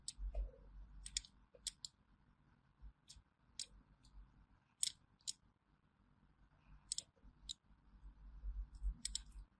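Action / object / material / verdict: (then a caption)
scrape / bar of hand soap cut with a thin metal blade / soap / none. A small, thin metal blade scores diagonal grooves into a solid orange bar of hand soap held in the hand. Each stroke gives a short, crisp, bright scratching click, spaced irregularly over a quiet, low background hum.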